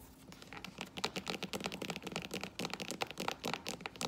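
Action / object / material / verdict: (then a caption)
tap / synthetic leather strappy sandal / synthetic leather / none. A flat strappy sandal with metallic rose-gold and silver faux leather straps on a tan sole, lying on a wooden floor, is tapped and scratched on the straps and sole with long orange acrylic nails. The result is a rapid, steady run of crisp, dry clicks mixed with bright scratchy rustling, each tap dying away almost instantly.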